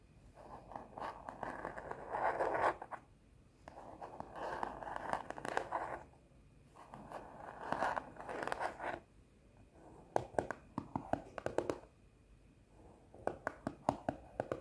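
A rigid, square teal plastic food container lid, held in both hands, is scratched and tapped with long nails. Three bursts of dry, rasping scratching with a midrange hiss give way to quick, crisp plastic taps that come in rapid clusters toward the end.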